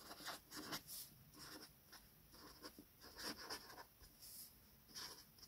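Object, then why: Felt-tip marker on a paper sheet. A felt-tip metallic gold marker, held in the fingertips, writes names on a flat sheet of white paper lying on a table. Its tip glides and rubs across the paper in short, quiet, bright squeaky strokes with brief pauses between them. The sound is soft and high, with almost no low end.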